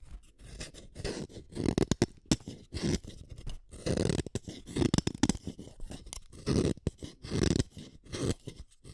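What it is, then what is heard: Wooden colored pencil being sharpened. A green wooden colored pencil is twisted against the metal blade of a yellow plastic hand sharpener. Rough, uneven scraping cuts come in short bursts, thick at the low end with a faint high rasp. Small crunchy clicks and brief pauses fall between the strokes.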